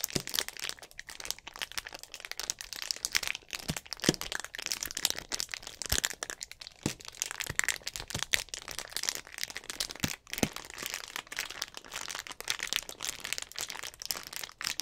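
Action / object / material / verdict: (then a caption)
scrape / thin plastic drink bottle / plastic / none. A hollow clear plastic drink bottle with an orange cap is squeezed by fingers, its thin plastic giving dense, bright crackling and crinkling. Many quick, sharp crackles overlap steadily throughout, with little low end.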